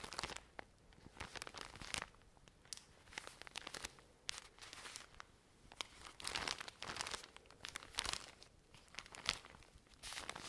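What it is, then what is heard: Plastic-wrapped pack of cotton pads. Long nails scratch and squeeze a full cylindrical pack of cotton pads wrapped in crinkly plastic film, held close to the mic. Bright, dry crinkling and scratchy crackles come in quick bursts with brief quieter gaps, carrying little low end and almost no ring.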